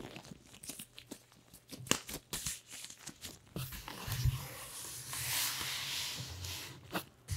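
A hand in a purple nitrile glove rubs and scratches with fingertips and palm across the flat lid of a large, closed corrugated cardboard shipping box printed with a logo. Short, dry scratches come first, then a sustained, bright, hissing rub swells in the middle. A few sharp scrapes close the clip.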